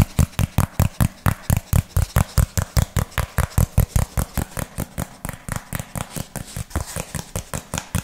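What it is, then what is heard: Cardboard sheet tapped with fingernails. Fingernails rapidly tap and scratch a flat, hand-sized piece of brown textured cardboard held in both hands. About 36 quick, dull taps fall in a steady, fast rhythm, each a short, low-heavy thump with a faint bright scratch and almost no ring.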